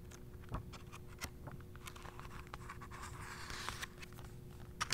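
A thumb riffles and turns the glossy, thin paper pages of a handheld paperback travel guide to Northern Spain. Soft, dry papery scratching and crisp little ticks carry over a faint steady low hum. A brighter rustle swells midway before a few sharper flicks at the end.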